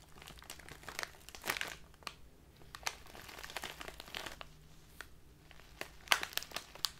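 A tall clear plastic bag full of loose leaf tea stands upright as fingertips and long nails crinkle and scratch it. The result is a steady stream of quiet, bright, crisp crackles and rustles, with sharper snaps now and then.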